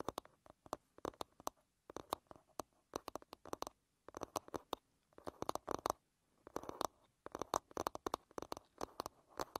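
Long red nails tap quickly on the wooden back of a wooden paddle hairbrush, then the brush is turned over to show its wooden pin bristles. Dozens of short, dry clicks, mostly in the mid range with bright edges, come in quick bursts separated by brief pauses.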